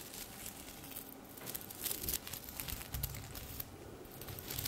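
A silver sequined top hangs on a hanger while long red nails brush and scratch across its sequins. The result is a dense, crinkly rustle with bright, glittery clicks over a soft low rumble, with louder scratchy bursts in the middle of the clip.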